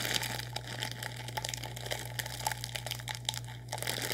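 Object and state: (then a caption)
Plastic instant noodle packet being crinkled. A sealed, full orange plastic instant noodle packet is crinkled and squeezed with fingers. A continuous run of bright, sharp crackles and rustles sits over a steady low hum.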